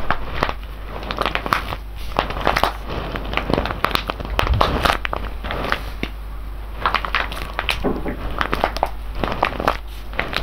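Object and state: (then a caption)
Foil bag full of whole coffee beans. A full, sealed silver foil coffee bag of whole beans is held in both hands and squeezed and rubbed with the fingers. Dense, irregular crinkling of the foil mixes with the crunch and rattle of the beans shifting inside, over a steady low hum. The sound rises and falls continuously throughout.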